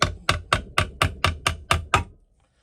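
Nine gentle hammer taps on a metal gearbox housing to free it as it starts to lift off its two dowels, one on each side, which make it tight at first. Each tap is a short, sharp knock with a quick decay and a bright ring near 1.2 kHz over a low thud, and the note of the taps changes as the housing loosens.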